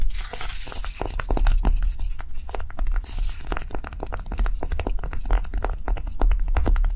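Long nails on both hands tap and scratch fast across a small, solid, pink block of dried light clay resting on a table. The result is a dense, steady run of crisp clicks and dry, crinkly scraping over a low rumble.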